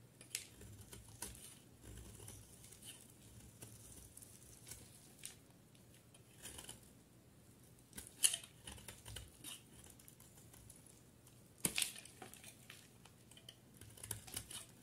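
A utility knife blade scrapes and shaves a solid peach soap bar with blue edges, producing flakes. Quiet, bright scratchy strokes come at an uneven pace over a steady low hum, with two sharper, louder scrapes standing out.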